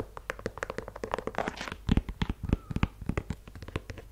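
Fingernails tap and scratch a white low-top leather sneaker with a rubber sole, working over its leather-look upper and the rubber sole. A quick, irregular run of short, dry taps with very little ring is heard, with a brief scratchy brushing passage early on. A cluster of deeper, louder thumps follows around the two-second mark.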